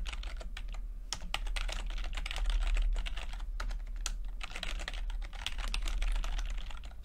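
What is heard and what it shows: Fingertips tap the plastic keycaps of a backlit chiclet computer keyboard while typing, producing a steady stream of quick, light clicks with irregular timing. Each tap is a short bright tick over a constant low hum.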